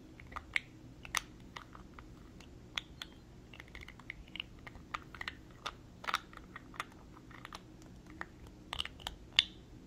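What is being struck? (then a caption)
Small glass jar with screw lid. A small clear glass cosmetic jar with a gold-colored screw lid is held between both hands and tapped with long nails on the glass and the lid. The taps form an irregular run of sharp, bright clicks that stop instantly with no ring, over a faint low background hum.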